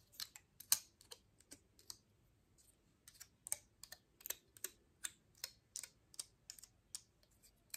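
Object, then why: Pine cone scales tapped with fingernails. Long nails tap and scratch the woody scales of a dry, open pine cone held upright by its base. About nineteen separate, quiet, dry clicks and brief scrapes come at an uneven pace, each bright and crisp with almost no low end. They die away almost instantly.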